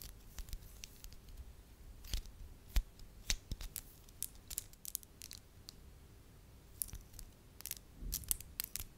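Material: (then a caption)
Wax. Long lavender acrylic nails tap and scratch a small, solid lump of soft beige wax held in the fingers. The result is a quiet, irregular series of sharp, dry clicks and brief bright scratches, each dying away almost instantly over a soft low rumble.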